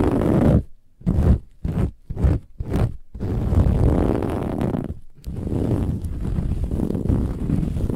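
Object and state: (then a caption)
Metallic woven fabric pillow. Long fingernails on both hands scratch a large, soft, filled cushion with a silver-gold textured woven metallic fabric cover. A series of short, separate rasping strokes gives way to continuous rough, rumbling scratching. The sound is heavy in the low end, with a brief pause near the five-second mark.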